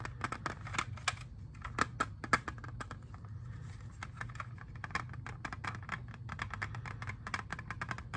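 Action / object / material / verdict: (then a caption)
tap / plastic CD jewel case / plastic / none. Fingernails tap rapidly and irregularly on a hand-sized, hollow clear plastic CD jewel case holding a disc. Each tap is a short, sharp, hollow click with a bright edge, and the clicks die away almost at once. A steady low hum runs underneath the whole time.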